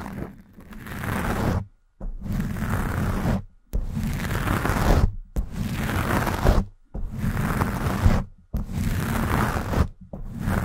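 Long acrylic nails slowly scratch the black foam cover of a Blue Yeti microphone. The sound is a close, muffled, rumbling scratch, heavy in the low end with a soft rustle above. It comes in seven long strokes, each separated by a brief moment of silence.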